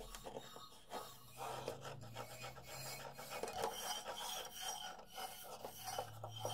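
Fingertips and nails of both hands scratch across solid wooden xylophone bars in a raspy rubbing motion, close to a microphone. The result is a continuous dry, gritty scraping with a bright hiss on top, a faint woody tone near 850 Hz and a low steady hum underneath.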